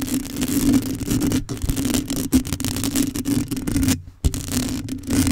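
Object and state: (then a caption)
Metal mesh microphone grille being scratched. Long acrylic nails scratch and flutter over the hollow metal mesh grille of a black condenser microphone. The result is a dense, continuous scratching rustle with a low resonant tone underneath, broken by brief dropouts to near silence around 1.4 and 4 seconds before the scraping resumes.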